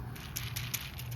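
A dried okra seed pod, one of three, is shaken or thumped, and the loose seeds rattle inside it as short, dry, bright clicks over a steady low hum. The pod is ready, because its seeds can be heard moving loose inside.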